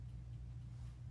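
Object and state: Nothing is struck.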